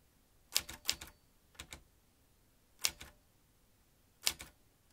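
Fingertips press the keys of a metal manual typewriter with a ribbon spool and paper loaded, typing. Ten bright, sharp metallic clacks arrive in five spaced pairs, each dying away almost instantly into near silence.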